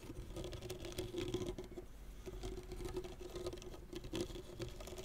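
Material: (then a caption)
Synthetic string. Both hands scratch and pluck the taut synthetic string bed of a blue-and-white tennis racket lying flat on a cloth, using fingernails and fingertips. The result is a quiet, continuous patter of soft scratches and plucks over a steady low string tone, with bright scratchy ticks on top.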